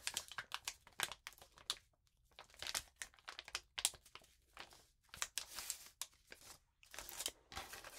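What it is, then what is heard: Crumpled paper sheet. A crumpled sheet of notebook paper is rubbed and crinkled under both hands with long nails. The result is bursts of bright, crisp crackling and rustling with almost no low end, separated by brief quiet gaps.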